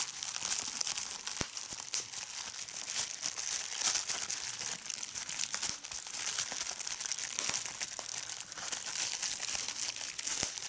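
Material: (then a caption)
Plastic. A large sheet of clear plastic bubble wrap is held up in one hand while the fingers crumple it and pop its bubbles. The result is a steady, bright crinkling rustle, broken by many sharp, dry snaps from the popping bubbles, with almost no low end.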